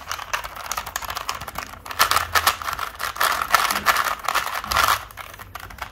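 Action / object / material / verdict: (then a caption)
scrape / plastic puzzle cube / plastic / none. A small standard 3x3 plastic Rubik's cube with colored stickers is held up in the hand while fingertips and nails twist its layers quickly. Rapid, dense plastic clicks and rattles sound in fast bursts, bright and crisp with a tone around 1.3 kHz and almost no low end.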